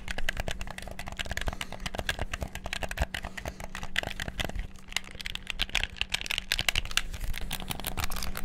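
Fingertips rapidly bash the buttons of a black PS4-style plastic gamepad. A dense, fast stream of short, dry plastic clicks and taps with bright edges runs throughout, over a faint steady low hum, and each click cuts off almost instantly.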